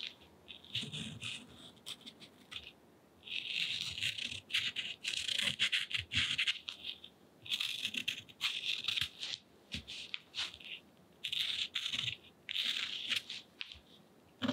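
A purple paint pen tip scratches lines across the rough surface of textured cotton rag paper painted in gouache, lying flat on a table. The result is a series of dry, bright, hissing scratches in short bursts and longer strokes, with quiet pauses between them and almost no low end.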